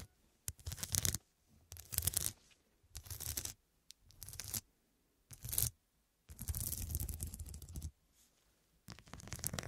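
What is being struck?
Fabric cushion covered in faceted glass studs.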